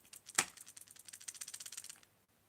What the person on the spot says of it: it has a soft knock rattle